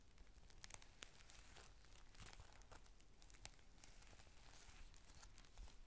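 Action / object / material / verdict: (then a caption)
scrape / thin clear plastic rain cover / plastic / none. A thin, clear plastic rain cover, folded into a flat, hollow, empty square, is squeezed and crinkled by fingertips and short nails on a white table. The result is a steady, quiet crinkling and crackling with sharp, bright snaps scattered throughout over a low rumble.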